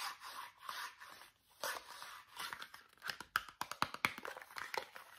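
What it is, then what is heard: Cardboard toothpaste box. Fingernails tap on the flat faces of a small Meridol cardboard toothpaste box. Soft, papery scratching and brushing sounds come first, then a quick run of sharp, dry clicks. The sound is bright and thin, with almost no low end.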